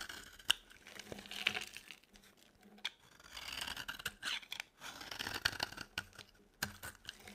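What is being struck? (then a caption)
Bar of soap shaved with a blade. A utility knife blade shaves a solid, dry, yellow embossed Palmolive soap bar, giving bursts of crisp, bright scraping and crackling with sharp clicks between strokes. The sound is dry and high-pitched, with almost no low end and no ring after each cut.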